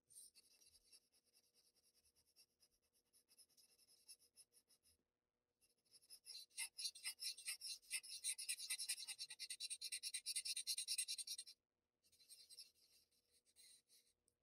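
A white paper blending stump rubs and scratches in short strokes across a flat sheet of Bristol paper covered in graphite shading. The result is a quiet, bright, papery scratching made of rapid, fairly regular strokes, with a brief pause partway through. The strokes then grow louder and denser, stop again, and return softer at the end.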